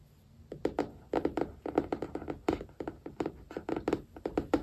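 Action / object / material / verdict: tap / hardcover notebook with card cover / card / none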